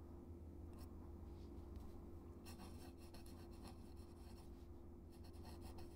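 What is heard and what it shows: A metal-nib dip pen, held in the fingers, scratches across a thin, flat white paper card taped to a dark surface while writing cursive text. Soft, bright scratching strokes come and go over a steady low hum, with denser bursts of nib scratching in the middle and near the end.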